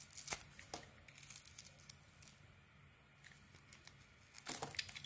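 A small metal blade shaves the same beige Fa soap bar, giving quiet, crisp scraping and crackling strokes that sound bright and thin. Bursts of sharp shaving cluster near the start and end, with softer, sparser scrapes in between and little low-end weight.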